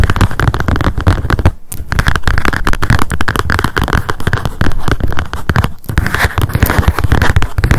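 Long acrylic nails tap rapidly on the cardboard cover of a small pink spiral memo notebook lying flat. The result is a dense, continuous stream of quick, dry clicks with a low thumpy body, broken by two brief pauses.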